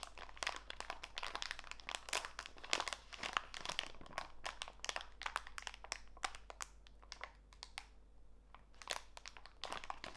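A small clear plastic bag full of walnut pieces, with a green label, is squeezed in both hands to crinkle the plastic. Dense, bright crackling and crunching bursts overlap almost continuously, easing briefly near the eight-second mark before picking up again. A faint low hum runs underneath throughout.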